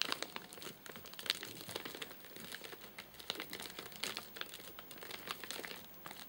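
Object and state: Plastic film snack wrapper.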